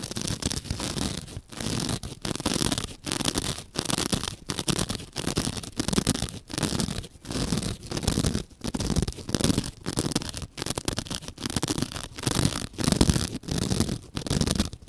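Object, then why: Open-cell foam sponge. Long dark-painted nails scratch a single palm-sized white open-cell foam sponge held over a dark cloth scattered with small crumbs. Steady bursts of coarse, raspy scratching repeat with brief silent gaps between strokes, full-bodied down low and hissy up high.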